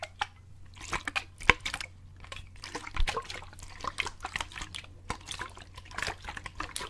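A clear plastic bottle with a grey lid, partly full of water, is held sideways in both hands and shaken and tilted so the water sloshes inside. Irregular bursts of bright, splashy sloshing and short drip-like clicks come and go over a steady low hum.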